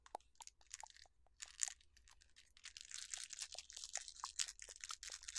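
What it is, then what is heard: Plastic jar of jelly beans, shaken. A clear plastic jar with a yellow lid, full of jelly beans, is shaken and tilted by hand. The beans rattle against the jar in quick, bright, crisp clicks and crunchy bursts that grow denser toward the end. A faint low hum sits underneath.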